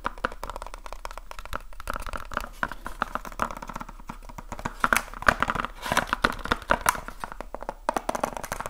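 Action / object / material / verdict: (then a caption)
tap / small cardboard box / cardboard / none. A small, hollow, rectangular cardboard light bulb box is held in one hand and fast-tapped with the fingertips of the other. Rapid, dry, papery clicks and hollow knocks run in dense bursts, with a faint crinkling rustle between them. The taps grow louder and sharper in the middle of the clip before easing off again.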